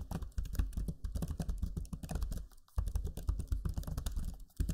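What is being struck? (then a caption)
Plastic laptop keyboard. Fingertips type steadily on the low-profile plastic keys of a backlit black Lenovo Legion 5 laptop keyboard, producing a rapid stream of soft, muffled clicks and thumps with a deep, dull body. The typing pauses briefly near the middle and again at the end before resuming.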